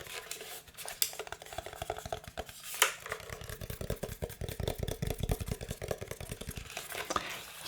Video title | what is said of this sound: THICC CLICCS - System 76 Launch Mechanical Keyboard ASMR Review (soft spoken) | can hear it sounds solid right there's really no hollowness in there